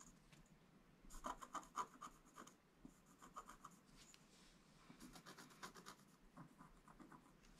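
A wooden stylus scratches lines into a flat black-coated scratch-art page. Quiet, irregular bright scratching strokes come in bursts, some with a faint squeak around 1 kHz, and they fade quickly between strokes.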